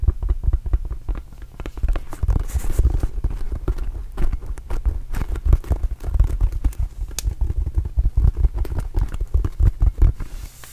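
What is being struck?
Inflated rubber mini basketball.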